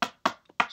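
Hard, rough rocks are tapped on a table to show that they make an audible sound. Three sharp, dry knocks ring out, with a fainter tap between the last two, for four hits in all, each dying away quickly.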